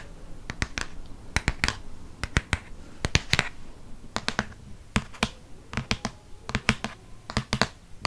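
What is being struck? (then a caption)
Hardcover paper book. Long fingernails tap the front cover of a Harry Potter hardcover paper book with a dark blue cover, held upright and solid. The result is irregular clusters of short, dry, bright clicks with a faint low thud and almost no ring, over a quiet background.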